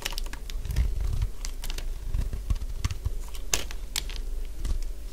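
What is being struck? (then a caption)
Bar of soap scraped with a blade. A solid cream-coloured bar of dry soap is scraped and shaved with a utility blade. Short, crisp crunching scrapes come in quick irregular bursts, each a bright streak over a heavy low rumble, and they stop almost at once with little ring.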